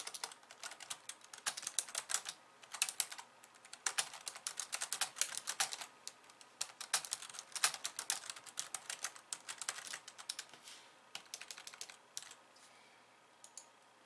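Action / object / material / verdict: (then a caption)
tap / plastic computer keyboard / plastic / none. Long painted nails type on a pink low-profile plastic keyboard with white keys resting on a wooden desk. Rapid, bright plastic key clicks come in dense bursts with short pauses between them. The typing thins out and grows quieter toward the end.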